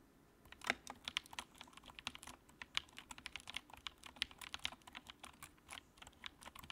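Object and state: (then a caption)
Plastic mechanical keyboard being typed on. Fingertips type steadily on the keycaps of a compact white plastic mechanical keyboard with a backlight. The keystrokes are quiet, short, bright clicks with almost no low end, each dying away almost instantly, with a few sharper, louder taps standing out from the stream.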